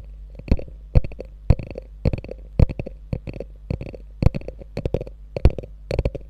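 Long nails tap and scratch the quilted front near the top edge of a small, hollow, beige quilted faux leather handbag with a gold metal logo. Irregular bursts of short, dry taps and scratchy rustles land about twice a second, with hollow low thumps that die away almost instantly. A steady low hum runs underneath throughout.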